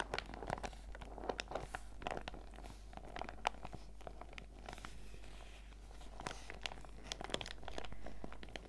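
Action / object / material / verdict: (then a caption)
scrape / clear PVC zip pouch with sachets inside / PVC plastic / none. A small clear PVC zip pouch with a fruit print, filled with face mask sachets, is held up and squeezed and crinkled with fingertips and painted nails. Dense, dry crinkling runs throughout, broken by sharp, bright plastic clicks and ticks that stop instantly, over a steady low hum.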